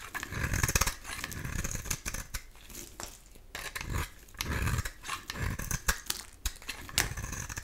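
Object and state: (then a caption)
Bar soap shaved with a blade. A metal utility-knife blade shaves curls from a solid cream-colored oval bar of soap with an embossed logo, held in the hand. Repeated short, dry scraping strokes come with bright crackling grit and soft low thuds. The strokes rise and fall in bursts.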